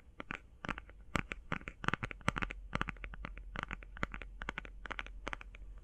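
Long painted fingernails tap and scratch quickly on a closed, flat, rectangular, hand-sized cardboard eyeshadow palette. Rapid, sharp, dry clicks come in an uneven flurry with brief scratchy strokes, each tap bright and very short. A steady low hum sits underneath throughout.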